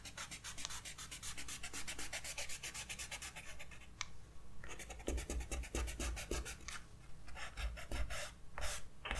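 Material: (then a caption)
Paper. A grey kneaded eraser is rubbed back and forth over a pencil sketch on a white paper page of a spiral-bound sketchbook resting on a desk. The result is a fast, steady series of soft, bright scratchy rubbing strokes over a low, constant hum, with a brief lull around the middle before the strokes pick up again.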